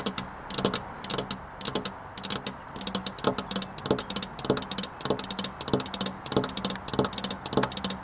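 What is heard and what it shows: Long black-polished nails tap on a flat glass window pane with a metal rail, giving quick, irregular bursts of sharp, bright clicks that die away almost instantly. A faint low hum runs underneath the tapping.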